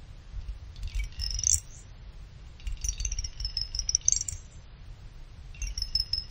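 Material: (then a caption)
Aluminum. A pick plucks and clinks the side fins of a small finned aluminum CPU cooler heatsink. It makes bright, high metallic pings and rattling clinks that come in three clusters, each dying away almost instantly, over a steady low rumble.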